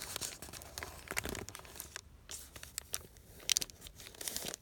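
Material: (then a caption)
Paper. A thin, hand-sized sheet of wrinkled white paper with faint text, resting on a canvas cushion, is rubbed and crinkled under the fingers and palm, possibly with small tears. Bright, dry crackling and crunching come in quick bursts. There is a brief quiet gap around the two-second mark and a few sharper crackles toward the end.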